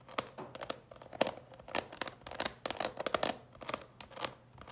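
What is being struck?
Clear plastic candy box tapped with fingernails.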